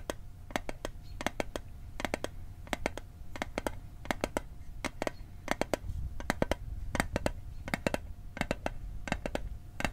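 A small, hollow, rectangular metal Altoids mint tin is held in both hands over a microphone and tapped quickly with fingertips and short nails. About 41 sharp, dry clicks come in quick bursts and clusters, each dying away almost instantly over a low, steady background rumble.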